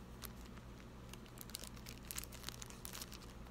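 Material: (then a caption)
Plastic. A small clear plastic zip-lock bag holding a small piece of jewelry is held between fingertips and a thumb with painted nails and crinkled and squeezed. Quiet, bright crinkles and sharp crackles come in irregular bursts over a steady low hum.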